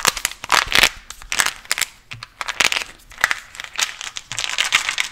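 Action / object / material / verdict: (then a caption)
tap / plastic gum container / plastic / none. Fingernails tap and scratch a small white translucent cylindrical plastic gum container with a red label, holding gum pieces. The result is a rapid series of bright, crinkly clicks and scratchy bursts with almost no low end and no ring after each touch.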